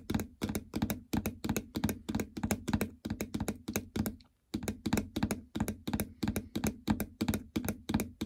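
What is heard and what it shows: Long fingernails tap quickly on the plastic membrane keypad of a treadmill console, near the stop/enter and speed buttons, over a hollow housing. The sharp, dry clicks come in rapid bursts with a hollow low thunk around 215 Hz and a bright, crisp edge, pausing briefly at about the four-second mark before continuing.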